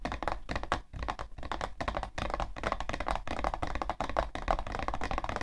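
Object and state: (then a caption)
Cardboard tissue box. Long nails tap quickly and repeatedly on the side panel of a hollow, printed cardboard tissue box. The clicks are dry, short and hollow, blurring into an uneven rapid patter over a low rumble.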